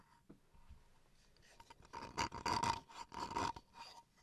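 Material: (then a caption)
Bamboo wood. Fingernails scratch along the surface and edge of a small rectangular solid bamboo wood chopping board held upright in the hands. Faint, sparse scratches give way to louder, dry raspy strokes in quick bursts from about the two-second mark. A faint steady tone near 900 Hz runs underneath.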